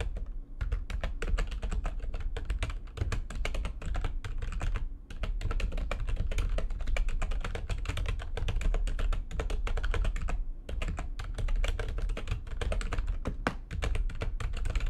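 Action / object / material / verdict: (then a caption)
tap / plastic computer keyboard / plastic / none. Fingertips with long nails type fast on the keys of a full-size, low-profile, backlit plastic computer keyboard resting on a desk. A dense, continuous stream of short, crisp taps sits over a low, thuddy body, with brief pauses around the half-second, five-second and ten-and-a-half-second marks. Each keystroke dies away almost instantly.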